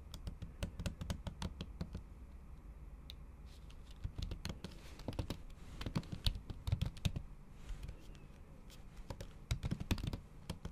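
A MacBook keyboard covered by a thin pink plastic or silicone cover is typed on with long acrylic nails. The result is a steady run of soft, muffled key taps with sharp clicky nail ticks in quick bursts. There are short pauses between the bursts over a low background hum.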